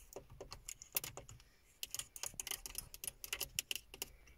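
Long fingernails tap on the hollow, silver-grey plastic faceplate of a car stereo with small buttons. The clicks are quick, dry and bright, coming in irregular bursts with a brief pause in the middle and no lingering ring.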